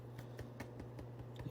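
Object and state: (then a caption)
Baked-through cinnamon buns, hollow sound. Fingers tap on the tops of golden-brown cinnamon buns after 40 minutes in the oven, giving soft, dull, low taps at a steady pace over a faint hum. The buns sound hollow, showing they are baked through and done.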